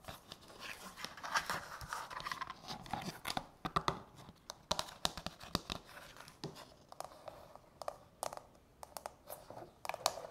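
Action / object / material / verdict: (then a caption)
tap / plastic nail-soak bowl / plastic / none. Long natural fingernails tap and scratch over the domed inner insert and rim of a small, hollow, empty frosted translucent plastic manicure soak bowl. Quick, dry plastic clicks with bright high edges die out almost instantly, set against a soft scratchy rustle. The tapping comes in irregular bursts throughout.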